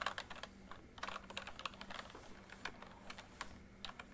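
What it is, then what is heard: Plastic membrane keyboard being typed on. Fingertips type on the letter keys and numpad of a full-size plastic MSI backlit membrane keyboard. The result is a quick, uneven run of soft, short clicks and taps, centered in the midrange with brighter ticks on top, each dying away almost at once. A faint steady low hum sits underneath.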